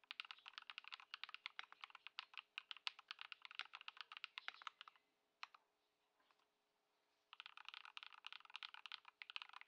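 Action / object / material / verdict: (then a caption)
tap / mechanical keyboard with plastic keycaps / plastic / none. A modded Ducky One 2 SF compact mechanical keyboard, fitted with Lumia Matcha switches, Poron foam and white plastic keycaps and resting on a wooden desk, is typed on continuously with the fingertips of both hands. Rapid, bright, short clacky keystrokes run steadily, pause for about two seconds with only a few isolated clicks, then resume in a fast flurry.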